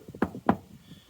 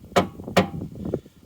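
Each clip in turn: First: Two short, dull knocks on a steel car chassis, dying almost at once: solid metal, not hollow. Second: Two hollow, low knocks on a car's metal fuel tank that die away almost at once; it sounds empty.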